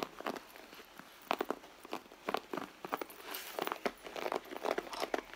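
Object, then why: Soft leather handbag. Long blue acrylic nails scratch and tap the front panel of a hollow, medium, soft red leather handbag lying flat on a mat. The result is a quick run of dry, crinkly scratches and short clicking taps with almost no low end and no ring.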